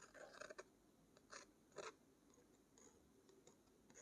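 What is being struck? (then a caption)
Thick watercolor paper page. Long nails rub and scratch a thick watercolor paper page bearing a painted crest. Soft, dry scraping and crinkly bursts with bright edges rise in short clusters over a quiet hiss.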